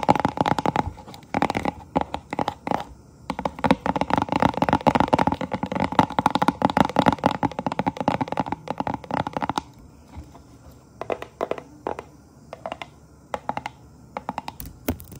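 Long painted acrylic nails tap and scratch the surface of a flat, thin holographic vinyl decal sheet with a black ghost design, held close up. For about ten seconds the nails make dense, rapid clicking and scratchy crinkling, dry and midrange-heavy. The sound then thins out to scattered, sharp taps separated by quiet pauses.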